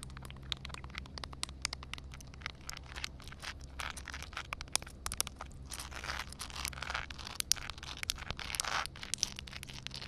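Long dark red nails scratch and tap on solid, flat concrete ground covered with a thin layer of water. Dense, sharp clicks and bright, crackly scratching rasp over a quiet, steady low hum, with a few louder taps standing out.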